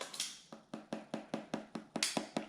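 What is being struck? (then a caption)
Plastic front cover of an electric vehicle wall charger. Fingers tap the white, glossy plastic front cover of a new Tesla Gen 3 Wall Connector electric vehicle charger, which has a clear outer layer. The taps come in a steady, evenly spaced series of short, dry, bright clicks that die away almost at once. The cover sounds like plastic, as expected.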